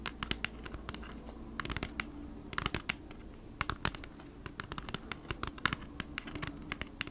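Long nails scratch across the printed front of a thin, flat, hand-sized cardboard Bee's Wrap package. Quick, dry scratches and clicks come in irregular clusters, each bright and sharp with almost no ring. A faint steady low hum sits underneath.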